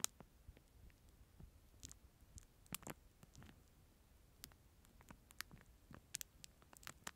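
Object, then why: Thin plastic film packet holding a plastic spoon. A clear plastic film packet with a disposable plastic spoon inside is held close and crinkled and scratched with fingertips. The thin film gives a string of quiet, sharp, bright crackles and ticks over a soft, near-silent background.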